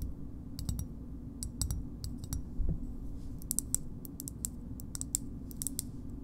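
Long nails tap the concave side and edge of a small, hard green plastic shoehorn. The result is a series of sharp, bright, dry clicks with almost no ring, set over a steady low background rumble.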